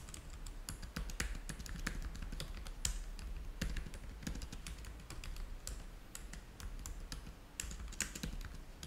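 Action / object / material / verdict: tap / plastic laptop keyboard / plastic / none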